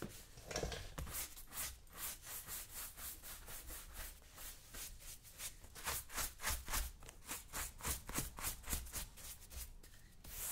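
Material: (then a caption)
Leather. A wooden-handled horsehair brush is swept back and forth over the leather of a black lace-up work boot worn on the right foot. It makes a quick, steady series of bright, scratchy swishes, about three or four strokes per second, over a soft low rumble.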